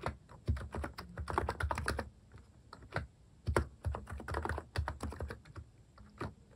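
Fingertips type on the left-side keys of a compact keyboard fitted with plastic cat keycaps. The clip carries short, dull clicks and thocks in irregular bursts, mostly low-weighted with quick decay and a few brighter clicks.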